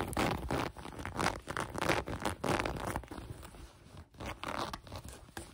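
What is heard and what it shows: Long nails scratch and pluck the elastic waistband of light gray cotton sweatpants. Quick, irregular bursts of rough, raspy scraping come one after another, with a dry, bright fabric texture that fades quickly after each stroke.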